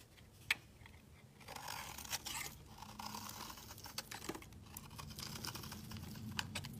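A utility knife blade scrapes a solid, hand-sized pale yellow soap bar held in the hand, cutting off fine shavings. Quiet, bright, crisp scraping and soft crunching run throughout, with a few sharp clicks standing out over a low background hum.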